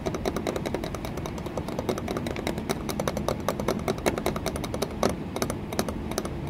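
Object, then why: Embossed glass window pane in a wooden frame. Long nails tap and scratch an embossed green patterned glass pane set in a wooden window frame. A rapid, steady stream of sharp, clicky taps with a faint glassy ring rides over a continuous low, scratchy rustle, each tap dying away almost instantly.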